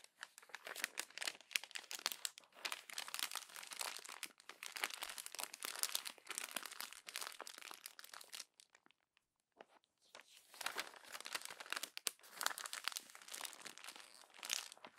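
Hands with long pink nails crumple and rub the crinkled pages of an open glossy paper magazine. Dense, bright crackling and crinkling runs steadily with almost no low end, stops for about a second and a half near the middle, then picks back up through to the end.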